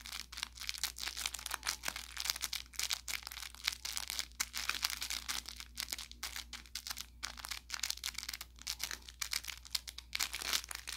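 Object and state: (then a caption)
Plush carrot cat toy with crinkle filling. Fingertips pinch and scratch at the seam of an orange velour plush carrot cat toy with crinkle filling. The result is a steady stream of quick, bright crinkling and crackling snaps. A faint constant low hum runs underneath.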